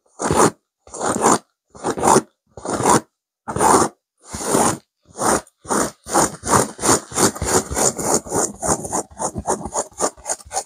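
Long nails of both hands vigorously scratch a stuffed pillow with a blue burnout velvet cover and a cream petal pattern. Bursts of dry, broadband scraping start as separate strokes, then quicken into a dense, rapid run of rasping scratches with bright edges.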